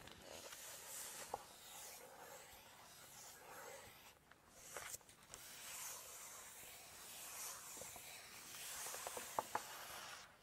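Long nails lift and turn a page of a large open Chinese cookbook with glossy pages, then scratch and tap across the glossy photo pages. Soft, bright papery rustling and scratching is punctuated by a few short, crisp taps, all at a quiet level.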